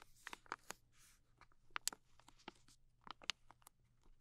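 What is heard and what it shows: A soft plastic film pouch of makeup remover wipes, filled with moist wipes and held in both hands, is tapped and scratched on its flat front with long nails. The result is quiet, crisp, crinkly clicks and scratches with bright high-end crackle, set against a low steady hum.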